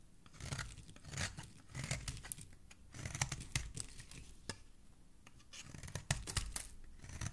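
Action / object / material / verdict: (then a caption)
scrape / bar of soap carved with a metal knife / soap / none. A metal knife blade carves and scrapes shavings from the surface of a solid green bar of soap held in fingers with dark nails. Quiet, crisp scraping and crackly cutting strokes come in bursts, with sharp bright clicks over a soft low rumble. Each stroke stops dry, with almost no ring after it.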